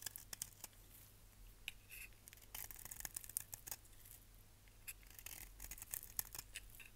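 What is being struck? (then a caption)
Bar of soap. A solid, dry orange-and-yellow striped bar of soap held in the hand is shaved with a utility knife blade into yellow curls. The blade gives quiet, bright, crisp scraping and crackling strokes in irregular bursts over a steady low hum.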